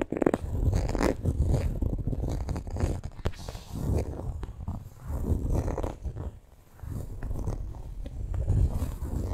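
Long nails scratch and drag across the printed front of a coated canvas handbag. The result is a dense, low, rough scraping rumble that swells and fades in uneven strokes, with brief quieter gaps and almost no bright content.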